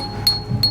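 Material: Porcelain.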